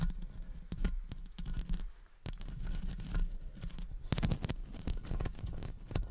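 Long acrylic nails tap rapidly and scratch around the hollow metal wire-mesh grille of a studio condenser microphone. The result is a close, bass-heavy stream of dull thumps with sharp, bright clicks and a dry, rustling scrape between them. There is a brief quieter lull partway through before the tapping picks up again.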